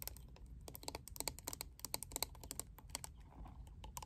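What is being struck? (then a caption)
Plastic paddle hairbrush. A lilac plastic paddle hairbrush, whose back is a clear liquid-glitter panel, is held in the hands and tapped quickly on the back with long acrylic nails. The result is a fast, uneven stream of short, crisp, bright clicks that die away almost instantly, over a faint low rumble.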